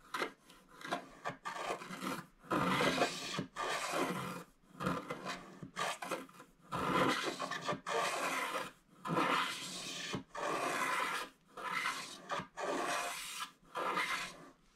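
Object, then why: Scratch-art card, wax coating on foil paper. A wooden stylus scrapes the last of the black wax coating off a flat scratch-art card of gold foil paper, held in one hand, until the gold surface is nearly fully exposed. Dry, raspy scratching comes in irregular bursts of varying length, broken by short quiet gaps, with a bright, papery texture and little low end.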